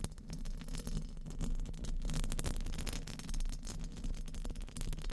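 Very long painted nails tap and scratch across the rounded, hollow steel mesh grille of a condenser microphone. Rapid, overlapping taps and scrapes blend into a steady, close-up texture of crackly clicks over a dense, boomy low rumble that swells and dips without pause.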